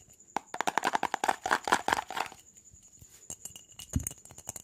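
A mid-sized, hollow, clear jar that looks empty, apparently plastic though possibly glass, with an orange screw lid, is held in both hands and quickly tapped and rattled with fingertips and nails. It gives a fast run of short, dry clicks and taps with a hollow ring around 1 kHz and a bright edge. The taps are dense in the first two seconds, then thin out into scattered lighter ticks, with one heavier, duller knock near the end.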